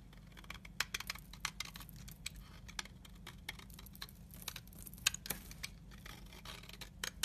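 A utility knife blade scrapes a fine powder from the surface of a solid translucent amber soap bar held in the fingers. The result is a rapid series of short, bright, crisp scratching ticks and crackles over a faint, steady low hum.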